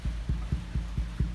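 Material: Nothing is struck.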